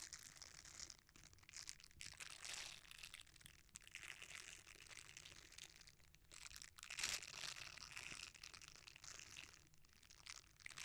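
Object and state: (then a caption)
Silicone scrubber. A red silicone bristle scrubber is rolled and bent while fingertips rub across its bristle surface. The result is a steady, bright, crinkly scratching and crunching texture with little low end, swelling and fading as the bristles flex, with a sharper, louder burst near the middle of the clip.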